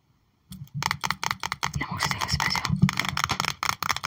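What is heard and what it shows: Long nails tap and scrape across a trading card binder page holding cards in clear plastic sleeve pockets. The result is an irregular run of quick, crisp plastic clicks mixed with brief scratchy scrapes, each dying away almost instantly.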